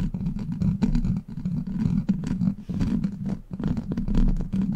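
Long black plastic claw nails grip and scratch a hollow steel mesh microphone grille. The result is a dense, continuous rasping scratch with a strong low buzzing rumble, broken by brief dips as the nails shift their grip.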